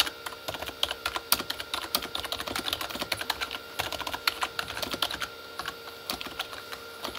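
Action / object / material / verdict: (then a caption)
tap / plastic computer keyboard / plastic / none. Both hands type with their fingertips on a full-size Corsair K35 plastic mechanical keyboard with red-backlit plastic keys. It makes a rapid, uneven stream of short, bright plastic clacks with almost no low end. A faint steady tone hums underneath.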